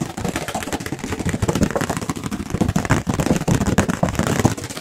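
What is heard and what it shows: A thin, light, white round disposable paper plate is held up near the microphones and tapped quickly with the fingertips. The result is a dense, continuous flurry of soft, papery taps with a dull low body and little high-end, each tap dying away almost instantly.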